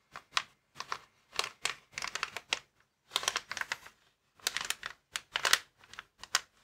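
Fingertips scratch and tap the film of a clear plastic air column cushion bag, air-filled packaging lying flat. Short bursts of bright, crisp crinkling and clicking come in quick clusters with brief pauses between them, each dying away almost at once with no low rumble.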